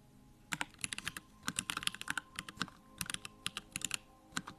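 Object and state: Mechanical keyboard with plastic keycaps.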